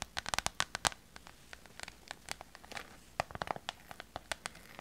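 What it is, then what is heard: Vinyl pouch tapped and scratched. Long purple nails tap and scratch a small, hollow, clear PVC vinyl pouch filled with glitter. Around two dozen sharp, bright clicks come in quick bursts, with scratchy brushing and a slight crinkle between them. Each tap stops almost instantly.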